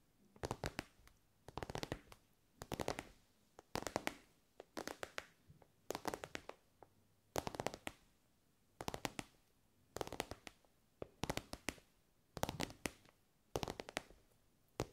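An elongated, soft glossy pink fabric pencil case covered in shiny pink synthetic fabric is tapped with long nails. Quick clusters of dry, crisp clicking taps come in bursts separated by short pauses. Each tap dies away almost at once.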